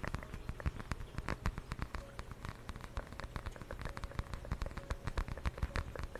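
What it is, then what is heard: Fabric zip pouch. A small, flat, purple patterned fabric zip pouch is held by the mic and scratched and tapped with long nails. A quiet, steady run of quick, dull taps and scratchy rustles continues throughout, with soft low thumps, very little brightness, and no ringing after each touch.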